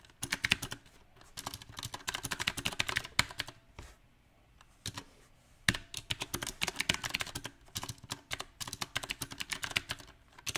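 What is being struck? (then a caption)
Mechanical keyboard with round plastic keycaps on a metal frame. Fingertips type unevenly on a mechanical keyboard with round plastic typewriter-style keycaps on a silver metal frame, including presses of the modifier keys. Quick, bright, dry clicks come in uneven bursts, broken by short pauses and a longer lull near the middle before the typing picks up again.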